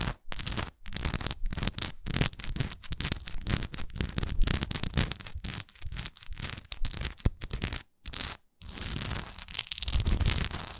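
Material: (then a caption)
Wax. A solid, textured wax pillar candle is held upright in both hands while long nails scratch and tap its textured sides. Dense, rapid crackling scratches and quick taps follow one another with brief pauses, carrying a heavy low thump under a bright, gritty edge.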